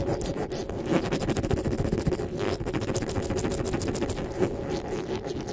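Fingers rub and scratch the top of the metal mesh grille on a black desktop microphone. The result is a steady, dense, close-up scratching and scraping with a heavy low rumble and faint bright crackles running underneath.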